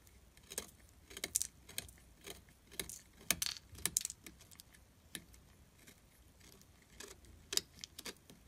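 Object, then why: Glycerin soap bar scraped with a metal blade. A metal blade scrapes the surface of a solid orange glycerin soap bar tilted on a table, carving it into crumbly shavings. A series of short, crisp, bright scraping strokes sounds with quiet pauses between them and almost no low end.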